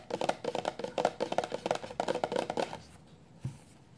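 A full 400 mL clear plastic shampoo bottle lying flat is tapped quickly with the long nails of both hands. It makes a fast run of crisp, hollow clicks with a mid-pitched tone, then goes quiet before one softer, lower tap near the end.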